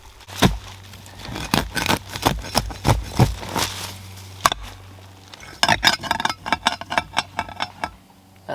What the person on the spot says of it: that sounds like glass